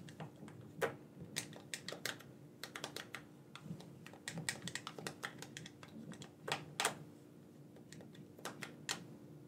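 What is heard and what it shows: A black, wired, hollow plastic gamepad, hand-sized and held in both hands, has its buttons clicked rapidly with the thumbs. Quick, dry, bright plastic clicks come in irregular bursts, each dying away almost at once, over a faint steady low hum.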